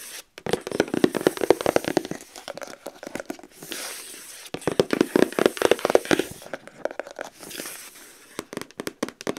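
Long acrylic nails tap and scratch quickly on the top surface of a rigid white cardboard gift box lid. Two bursts of rapid, dry, clicky taps with a papery scraping texture are separated by a brief, hissy scratching lull, followed by a few scattered taps at the end.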